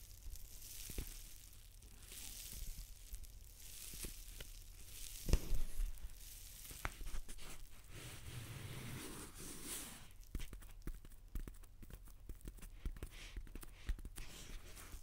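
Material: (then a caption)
Paper. A large white paper towel roll lying horizontally is scratched along its surface with long dark-painted nails. Soft, papery scratching and rustling with a crinkly, tearing texture is broken by brief sharp clicks, over a steady low hum. The sound stays quiet throughout, with a slightly louder cluster of scratches around the middle.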